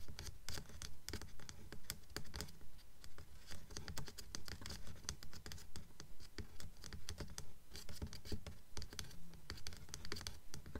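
Long nails tap and scratch the top edge and cover of a blue Mockingjay hardcover book with a paper dust jacket, lying flat on a table. A steady, quick rhythm of soft, dull, low taps is mixed with bright, dry scratching strokes that die away almost immediately.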